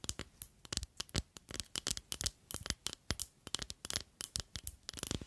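Long acrylic nails tap and scratch along a long, slender clear glass perfume bottle with a red cap that holds liquid. The result is a quick, irregular run of sharp, bright clicks that die almost instantly, mixed with a thin, high scratching hiss over a faint low thump.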